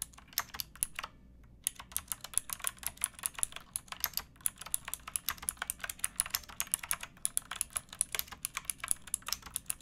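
Fingertips and nails type steadily on a pink backlit mechanical keyboard with plastic keycaps. The result is a rapid run of crisp, bright clicks and clacks with a brief pause early on. Each keystroke is short and dry, with little low-end thump.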